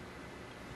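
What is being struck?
Nothing is struck.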